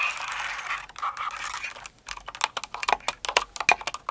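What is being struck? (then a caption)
Plastic mechanical keyboard. A full-size blue and white Cinnamoroll-themed mechanical keyboard with plastic keycaps, resting on purple faux fur, is typed on with long acrylic nails and fingertips. The first two seconds are a dense, scratchy, crinkly clatter of overlapping taps. After a brief pause comes a quicker run of sharp, bright, separate clicks.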